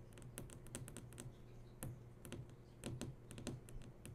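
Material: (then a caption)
Plastic. Long nails tap and trace over the hard screen of a large flat-screen TV that is switched on, making many quick, sharp clicks with bright high ticks. A steady low hum runs underneath the irregular tapping.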